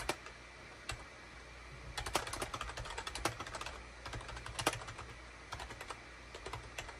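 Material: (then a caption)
Plastic. Fingertips type rapidly on a full-size gray and cream SHIPADOO K600 wired USB keyboard, with a hollow plastic case and keycaps, resting on a desk mat. Quick, bright plastic clacks come in bursts separated by short pauses over a faint low steady hum.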